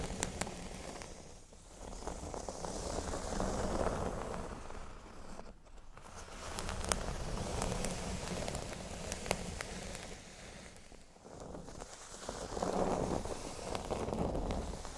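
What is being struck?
Thin cork board.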